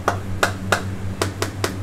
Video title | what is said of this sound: Les secrets du caviar Petrossian - Coulisses #7 - VANITY FAIR | Là, on entend, c'est sourd. Voilà. Vous voyez, ça c'est une boîte pleine.